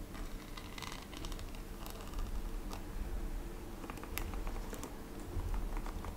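A blue glittery plastic hairbrush is held in hand while long red-painted fingernails tap and scratch its textured back. Fast, light, clicky taps and brief scratches sound over a steady low rumble. The clicks stay quiet and soft throughout.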